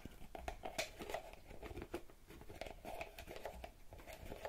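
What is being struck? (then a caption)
Small plastic bottle with cap. Long red-painted fingernails tap and scratch the cap and sides of a small purple plastic bottle with a pink cap and a printed label, held in one hand. Quick, hollow plastic clicks around 620 Hz mix with dry scraping and crinkly rustle, each tap dying away almost at once. The sound is close, quiet and intimate, with a steady run of taps throughout.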